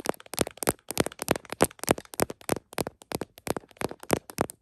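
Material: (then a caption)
Plastic. Long nails tap across the back of an iPhone in a smiley plastic case mounted on a tripod, then fingertips cover the case. The result is a quick, irregular run of short, dry clicks, each a sharp broadband tick with a bright top, coming in uneven clusters with almost no ring.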